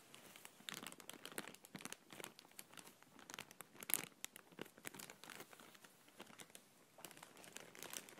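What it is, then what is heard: Thin plastic bag crumpled. A thin, empty, clear printed plastic bag is crumpled and pressed between fingers and palms. It gives a steady stream of soft, bright crinkles and sharp little crackles with almost no low end. A louder crackle comes near the middle, then the rustling settles back to a quiet, continuous crinkle.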